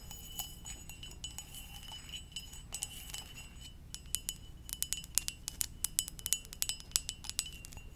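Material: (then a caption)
Ceramic. A hollow, empty red-and-white ceramic mug shaped like a Pokeball is held in one hand and tapped with long dark-painted nails. Light, bright clinks with very short ring ride over a faint steady high tone and a low background rumble. The taps grow louder and come in quicker bursts in the second half.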